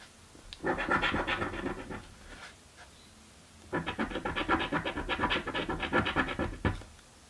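A coin scratches a thin, flat, purple cardboard scratch-off lottery ticket in two bursts of rapid, raspy strokes with a brief quiet pause between them. The scratching has a dry, grainy, bright texture, and each stroke stops short with almost no ring.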